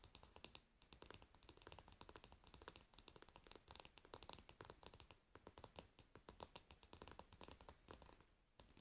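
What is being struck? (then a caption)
Varnished wooden back of a paddle hairbrush. Long nails on both hands rapidly tap and scratch the solid, glossy, varnished wooden back of a paddle hairbrush, resting pins facing down. The result is a quiet, dense patter of short, dry, bright clicks mixed with brief scratchy strokes, each tap dying away almost instantly.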